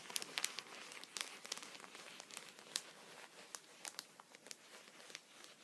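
A thin clear plastic punched pocket lies flat on a towel, with fingertips resting on it, and is tapped with a vertical wooden pencil. The result is a quiet run of sharp, bright crinkly ticks with almost no low end. Each tick dies away instantly.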